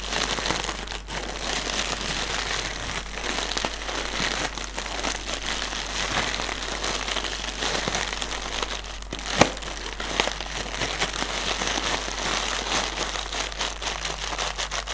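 A single inflated, hollow, air-filled plastic air cushion used as packaging is held in both hands while fingertips and nails tap and scratch its film. The result is a steady, bright crinkling and crackling throughout, with one sharper tap standing out about two-thirds of the way through over a faint, constant low hum.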